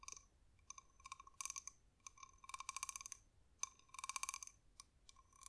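A small brown spotted cowrie shell, hard, glossy and hollow, is held in the fingers and tapped with long manicured nails. The result is quiet, bright, dry clicks that come in quick bursts, each with a clear ringing tone around 1 kHz and high overtones, and there is almost nothing in the low end.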